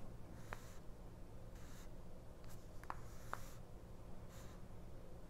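A fingernail slowly scratches down the price list of a small open 1999 paperback mini-book, its paper pages lying flat on a cloth while the other hand holds the page. Quiet, soft, airy scratching comes in faint bursts over a steady low background hum, with a few brief, sharp ticks in between.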